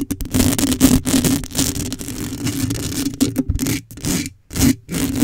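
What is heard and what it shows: Long acrylic nails scratch across a hollow black metal mesh microphone grille, making rapid, bright, gritty scraping bursts. A low, boomy tone around 250 Hz rings under the scratches, with brief silent pauses between the strokes.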